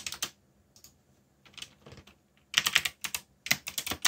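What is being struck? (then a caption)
Mechanical keyboard with plastic keycaps. Fingertips type rapidly on the plastic keycaps of a black mechanical keyboard with a yellow backlight. Bright, sharp clicks come in uneven bursts with short quiet gaps, and there is almost no low-end thump. The typing grows denser and louder in the second half.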